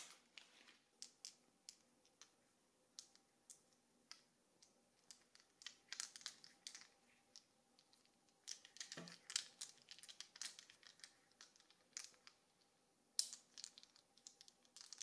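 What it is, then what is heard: AAA alkaline batteries clinking together. A handful of small gold-colored Varta AAA alkaline batteries with solid metal cylindrical casings is held loosely in the palm and fingertips, shaken and rolled so they clink together. Quiet, very short, bright metallic clicks come first as scattered single taps, then in denser rattling clusters, with one sharper click near the end. A faint steady hum sits underneath.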